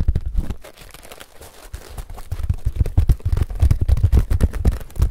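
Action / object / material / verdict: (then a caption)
scrape / woven paper-straw sun hat / paper straw / none. A large woven paper-straw sun hat with a hollow brim is rubbed and scratched with fingertips and nails close to the microphone. The result is a dense run of crinkly, scratchy rustles with soft, boomy low thumps, quieter for a moment before building into busier, louder scratching.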